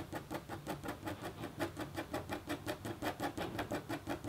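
A red-handled, metal-tipped stylus scratches short strokes across a flat, black-coated copper foil scratch art board held in the other hand. A quiet, steady run of brief scratchy bursts repeats at a fairly even pace, each with a faint raspy tone around 340 Hz and a dry, quick decay.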